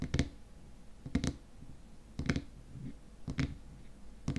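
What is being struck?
Small glass cream jar with plastic lid.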